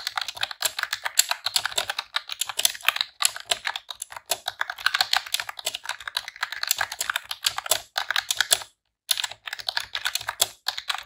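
Long press-on nails and fingertips type in rapid presses on a pink retro-style plastic computer keyboard with round keycaps. The result is a dense stream of short, bright, clicky keystrokes with almost no low end, running steadily in bursts with brief pauses and one clear silent gap near the end.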